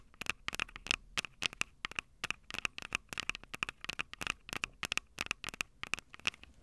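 Long purple nails tap and scratch the metal mic capsule heads of a small Tascam DR-05 handheld recorder with a plastic body and two metal capsules. The result is a rapid, irregular run of sharp, bright clicks with a thin metallic ring around 2.6 kHz, each dying away almost instantly, with scratchy crackle between taps and almost no low end.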